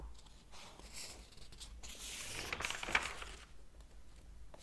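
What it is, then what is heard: Paper book pages. Fingertips tap and brush the paper pages of a large open hardcover book, then flip a page. Soft, quiet rustling and light taps build into a brighter, papery swish around the three-second mark before settling back to a faint brushing.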